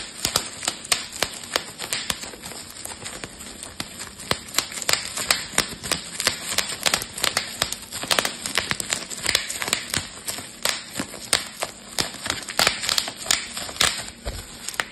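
Fingertips and thumbs squeeze a rolled strip of clear, air-filled plastic bubble wrap, popping the bubbles in rapid bursts. Dozens of sharp, bright snaps crackle out in irregular clusters over a faint hiss, each dying away almost instantly with little low end.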